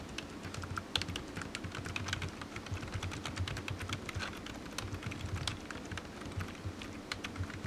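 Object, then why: Plastic computer keyboard. One hand types with its fingertips on a black plastic computer keyboard resting on a patterned mat. The result is a steady stream of quick, dry, bright key taps that die away almost instantly, over a low, constant hum.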